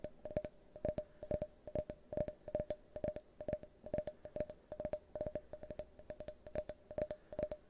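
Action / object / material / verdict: tap / glass drinking tumbler / glass / none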